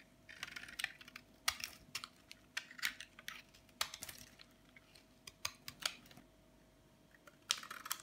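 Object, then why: Bar of soap scraped with a metal blade. A flat metal blade scrapes and shaves the edge of a hand-sized, solid white bar of dry soap held in one hand, cutting off flakes that fall onto a bed of colorful soap chips below. The sound is a series of quick, dry, crisp scratching and crackling strokes in irregular bursts, bright and high with almost no low end, each stopping short with no ring and separated by quiet gaps.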